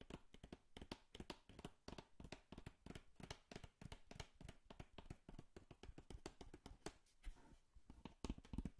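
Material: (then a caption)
Cardboard. Long nails and fingertips tap and scratch the surface of a small, empty-looking, hollow brown corrugated cardboard box held in the hand. A rapid, quiet stream of short, dry, hollow taps with a soft low thump and bright clicky edges dies away almost instantly, mixed with light scratching between the hits.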